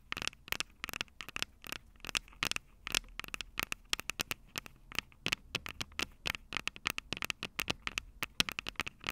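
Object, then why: Small metal microphone capsules on a recorder, struck with fingernails. Long purple nails on both hands scratch and tap the small metal X/Y microphone capsules on top of a plastic Tascam DR-05 recorder, the same mic doing the recording. Dense, rapid clicks and scratches sound sharp and bright with almost no low end. Each strike cuts off immediately, in an irregular patter.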